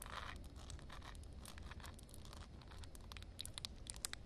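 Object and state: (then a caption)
Wet concrete slab, solid. Long dark-red acrylic nails tap and scratch a flat outdoor concrete slab covered with a thin film of water. Soft, gritty scraping over a low background rumble gives way to sharper, bright clicking taps toward the end. The concrete sounds solid.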